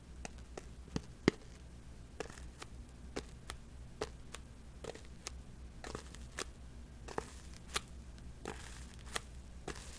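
Long metallic false nails tap and scratch the surface of a small, hollow-sounding white paper or cardboard box held close to the microphone. A quiet series of sharp, dry clicks and brief scrapes sits over a steady low background hum.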